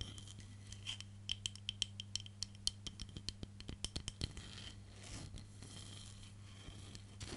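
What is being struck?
Wooden hairbrush back tapped and scratched with nails.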